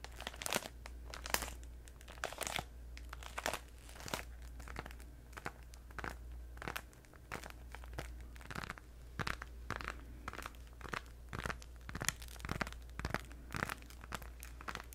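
Long red nails tap and scratch a pink Orbit "3 pak" flexible plastic gum pouch, apparently full, held in both hands. The plastic crinkles in sharp, quick bursts over a steady low hum.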